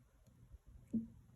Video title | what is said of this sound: Scented Wax 2.0!! - Randa's Crafty Corner | much much harder you should be able to tap on it like this and hear that sound